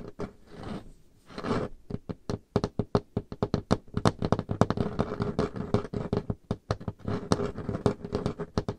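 Painted fingernails of both hands tap quickly on a large, solid, dark-stained wooden table top, with brief scratching strokes across the surface near the start. The result is a rapid, uneven patter of dull, low-pitched knocks that die away almost instantly, with little bright content.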